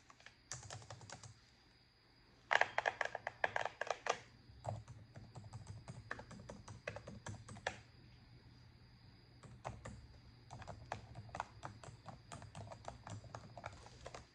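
A black plastic laptop keyboard is tapped and typed on with long acrylic nails, giving sharp, clacky key presses in uneven bursts separated by short pauses. The presses are bright and dry with almost no ring, over a faint low hum.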